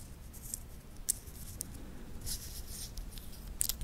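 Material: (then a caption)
Titanium. Fingertips move the titanium link bracelet of a wristwatch held in both hands, clicking the metal links together. Sparse, sharp, bright ticks and short clinks rise over a quiet low hiss, each dying away almost instantly.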